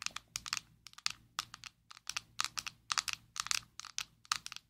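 A closed, small square black plastic Maybelline Fit Me loose powder jar is held in both hands and tapped and scratched with long nails. Quick clusters of sharp, bright clicks and short scratchy ticks come in uneven bursts, each dying away almost instantly with no low end.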